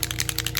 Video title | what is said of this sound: Can we add sparkles to Let's Resin Polyurethane Resin Wanna know how to use it? Beginners can use! | you hear the BB it keeps the colorant off the bottom